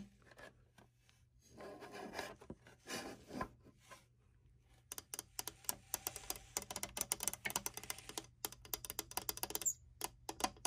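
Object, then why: Glass-fronted picture frame. Fingertips and long nails scratch and tap across the glass front of a small black-framed print standing on a desk. Soft, breathy scratching and rubbing bursts in the first half give way to a rapid run of sharp, bright clicking taps on the glass, over a faint steady low hum.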